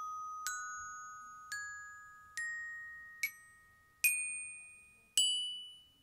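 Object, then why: Aluminium glockenspiel bars struck with a plastic mallet. Six aluminium glockenspiel bars are struck one at a time with a yellow plastic mallet, each giving a bright metallic ding. The notes climb steadily in pitch, and each one rings on and slowly fades beneath the next.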